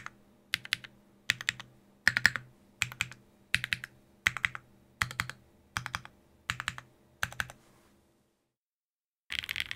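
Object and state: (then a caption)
Mechanical keyboard with plastic keycaps and aluminium plate. Fingertips tap slowly on a Sangeo 60 keyboard, a 60% mechanical keyboard in a white case with blue and grey GMK ABS plastic keycaps, an aluminium plate and Durock POM switches. Short clusters of crisp, bright clacks repeat at a steady, unhurried pace, fall silent for about a second, then resume.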